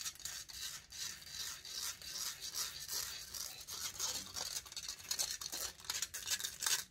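Long nails scratch the hollow metal mesh grille of a large silver condenser microphone. The result is a quick, uneven run of bright, hissy scraping strokes, almost all in the high range with very little low end, swelling and fading in short bursts.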